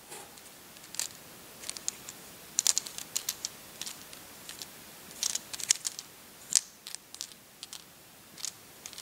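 A small handful of large, hard, solid dried speckled beans rests in an open palm while the fingertips of the other hand stir them. They click together in a quick, irregular series of sharp, bright ticks that die away at once, with nothing underneath but a quiet hiss.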